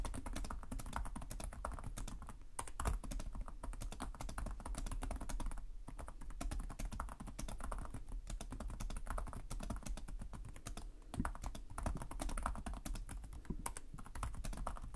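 Fingertips type steadily on the plastic keys of a black laptop keyboard, producing a dense, continuous run of short, dry clicks and taps. Each keystroke dies away almost at once, with most of the energy in a soft, low thud and a faint bright click on top.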